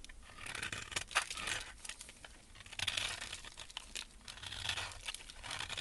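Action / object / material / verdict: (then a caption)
scrape / soap bar / soap / none. A metal blade scrapes flakes off the edge of a solid white embossed soap bar held in a gloved hand. The result is a quiet, dry, crisp crackling and tearing sound, mostly bright, with short rising bursts as each stroke peels the soap away.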